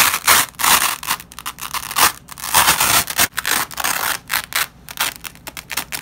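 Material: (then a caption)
Nylon. A black-gloved hand peels apart a flat nylon hook-and-loop strip lying on red cloth, producing a series of harsh, crackling rips. The tearing bursts start and stop in quick succession, bright and raspy with almost no low end.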